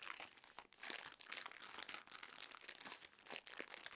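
Long nails scratch and tap along a full, soft cylindrical roll of cotton pads wrapped in thin plastic film. The wrapper gives off a continuous bright, dry crinkling with quick crunchy bursts and almost no low end.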